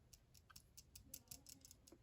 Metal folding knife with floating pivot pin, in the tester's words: that rattle ... that's that pin that's making that noise